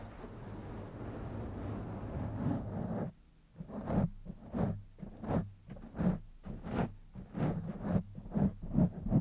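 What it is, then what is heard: Foam microphone windscreen being scratched. Fingertips and short nails of both hands scratch and rub a black foam microphone windscreen. A steady, dense, low rustling fills the first three seconds, breaks off into a brief near-silence, then gives way to a run of separate muffled scratching bursts with soft bright edges, repeating at an uneven pace.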